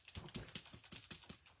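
A new Wink of Stella glitter brush pen, freshly assembled with its black ring removed, the barrel screwed back down and the lid on, is shaken by hand. The small mixing agitator inside rattles in about seven quick, bright clicks, confirming the agitator for the glitter ink is in place.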